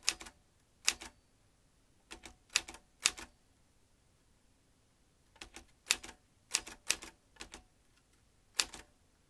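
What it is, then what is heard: Metal manual typewriter. Fingertips tap the keys of a vintage manual typewriter with metal typebars and a ribbon spool. Bright, sharp metallic clacks come in irregular bursts and short clusters separated by brief pauses. Each strike dies away almost instantly.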